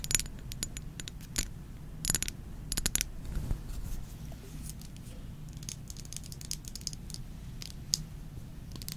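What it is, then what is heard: Glass perfume bottle. A small Versace Bright Crystal perfume bottle of thick faceted glass, partly filled with liquid, is held in the hands and tapped with long nails. Quick, bright clicks come in irregular bursts and scattered single taps, each dying away almost at once, over a steady low rumble.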